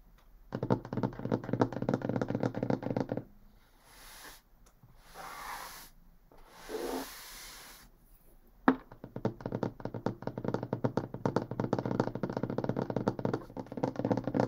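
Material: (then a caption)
Pine wood. Long painted fingernails tap rapidly and scratch across a large solid pine wood tabletop, making dense, dry, woody clicks, while the wrists wear bracelets and rings. Midway the tapping stops for several soft, airy swells of flat hands rubbing the surface. Then the quick, uneven fingernail tapping returns and continues to the end.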